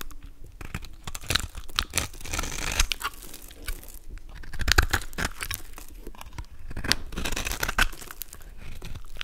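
A golden utility knife blade scrapes and carves small cubes and flakes off a solid, palm-sized purple soap bar with a pre-scored grid, held in the hand. Dry, crisp scraping and crumbly cracking repeat throughout, with sharp snaps as pieces break away.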